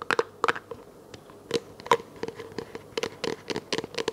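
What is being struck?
Small thin plastic container.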